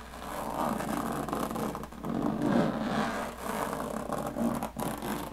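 Long painted fingernails scratch and tap the textured diamond-plate lid of a closed, hollow aluminum carry case. The result is a continuous rasping, whirring scrape with a hollow metallic resonance, rising and falling in loudness as the nails move across the ridged lid, with brief taps breaking through.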